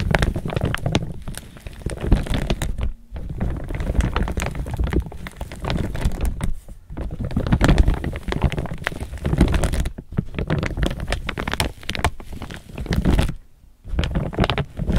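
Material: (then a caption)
Polypropylene. Hands grip an empty chevron-patterned laminated polypropylene tote bag and crinkle its sides with fingertips and nails. The result is dense, continuous crinkling and crackling, heavy in the low end, broken by brief quiet pauses near 3, 7, 10 and 13.5 seconds.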